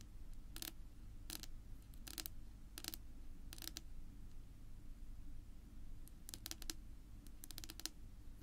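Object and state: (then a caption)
Wooden table top tapped with fingernails. Long pink nail tips tap on a flat, solid, dark wood-grain tabletop. Quick, bright clicks come in short clustered bursts, each dying almost at once, over a steady low rumble. The overall level stays quiet.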